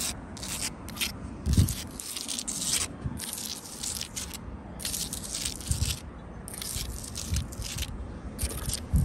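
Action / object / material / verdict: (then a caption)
scrape / sandstone block wall with mortar joints / sandstone / none. Long blue acrylic nails scratch across a solid sandstone block wall and its mortar joints. They make crunchy, gritty scraping in repeated bright bursts over a steady low rumble of friction.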